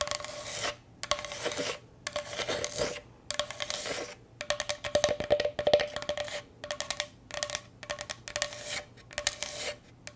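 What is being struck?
Bamboo cutting board.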